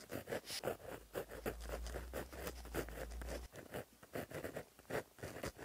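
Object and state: Pen writing on a paper notebook page.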